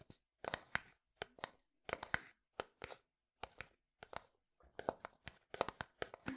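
Fingernails tap and scratch a translucent plastic jar or tub with pale contents. Short bursts of quick, dry, clicky taps mix with brief scratchy rasps, broadband but centred in the mids with bright edges. Each hit stops almost instantly, with short silences between the clusters.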